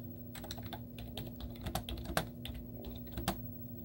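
A white plastic computer keyboard with cartoon stickers on its keys is typed on continuously with the fingertips and short painted nails of both hands. Quick, soft plastic clicks and taps run together over a steady low hum, with a few sharper, brighter key strikes standing out.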